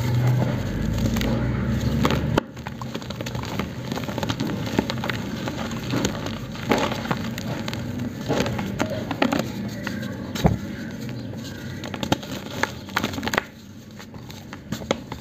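Bare fingers scoop and crumble loose grey cement powder and small dry lumps in a black plastic tub, then squeeze a larger solid block of dry cement until it breaks. A dense, low, gritty rumble gives way to steady dry crackling and crunching with many sharp snaps, ending in a quieter gritty crumble.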